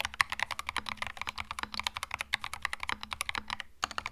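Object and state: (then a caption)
Mechanical keyboard with plastic keycaps. Fast fingertip typing on a compact cream mechanical keyboard with plastic keycaps produces a rapid, steady stream of sharp, bright clacks that stop almost instantly. A faint low hum runs underneath, and a brief pause comes just before the final few keystrokes.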